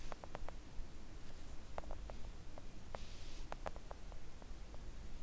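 Long acrylic nails of both hands tap gently on a thin, solid, flat pink silicone nail art mat lying on a table. The result is a run of soft, dull little ticks that die out almost instantly, set over a steady low rumble.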